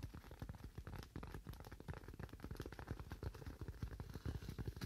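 A hand-sized, solid white styrofoam slab is held and rapidly tapped or scratched with fingernails. The result is a quiet, dense stream of soft, dull thuds with a faint crackle, mostly low in tone, with each tap dying away almost instantly.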